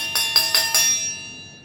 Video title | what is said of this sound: Class 8th Science Metals and Non-metals | और ये सोनोरिटी को प्रूव करता है कि मेटल आर सोनोरस।